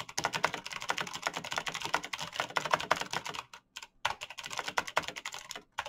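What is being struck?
Mechanical computer keyboard with plastic keycaps.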